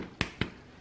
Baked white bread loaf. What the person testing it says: tapping uh it's Underside and see if it sounds Hollow